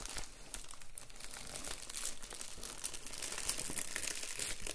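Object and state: Plastic bubble mailer being crinkled.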